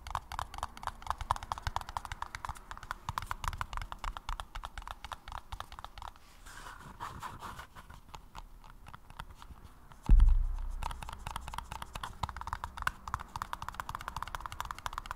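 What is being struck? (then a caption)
Paper cup. Fingers tap rapidly and lightly on a paper cup, making a dense stream of soft, hollow clicks centered around 1 kHz. The tapping pauses for a few seconds of quieter rustling, then a louder dull thump comes in before the quick tapping resumes.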